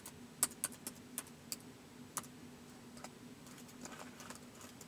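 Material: Plastic.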